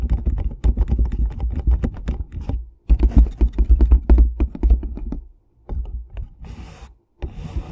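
Fingertips and nails tap and scratch a closed, hollow rectangular cardboard tea box (Red Rose Caramel Apple Pie, 18 tea bags) held flat on top of a foam-covered microphone. The result is a dense run of quick, dull, low-heavy taps with a deep, boomy body, pausing briefly twice. Near the end, softer hissing scratches take over.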